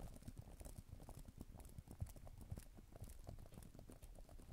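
Long nails type on the plastic keys of a black tablet type-cover keyboard, with an added echo effect. An irregular run of soft, low, muffled key thuds is heard, each topped with a faint bright click that blurs into a steady patter.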